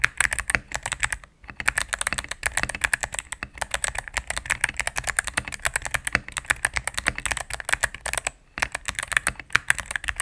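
Fingertips and medium-length nails type rapidly on a cream full-size mechanical keyboard with plastic keycaps on a solid plastic case. A dense stream of short, bright plastic clacks runs throughout with no ring, broken only by two brief pauses.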